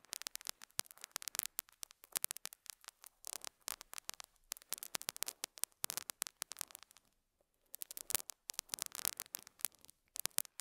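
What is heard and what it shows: A metal dental scaler hook scratches and picks at a small square beige felt pad on a lapel mic. The result is quiet, dry, bright crackling and scraping in quick, dense bursts with no low end, pausing briefly near the seven-second mark before resuming.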